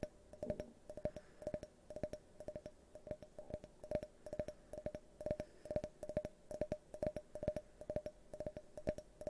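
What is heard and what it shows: An empty, hand-sized, hollow multicolored tinted glass drinking tumbler is held tilted toward the microphone and tapped with fingernails. It gives quick, uneven bursts of sharp clicky taps, each with a brief glassy ring at a steady mid pitch that fades almost instantly.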